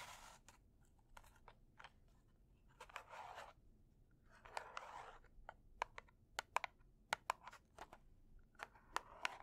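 A closed red cardboard kitchen matchbox, held upside down in both hands, is tapped and scratched with long dark nails. Quiet, sharp clicks and taps come in an irregular patter, broken by a few longer bright scratching rasps.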